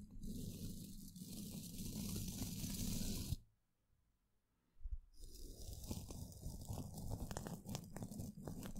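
A wide, flat bristle paintbrush with a wooden handle sweeps across the hollow woven metal mesh grille of an upside-down microphone. It makes a dense, scratchy brushing with a heavy low rumble and a bright hiss on top. The sound stops abruptly for about a second and a half, then resumes with crunchier, more uneven strokes until the end.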